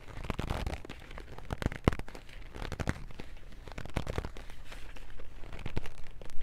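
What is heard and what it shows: Long nails and fingertips grip and scratch a small white and teal cardboard box full of No. 2 wood pencils. The result is a dense run of dry crackling and scraping, with sharp clicks scattered throughout. It is heavy in the low end and rises slightly in loudness toward the end.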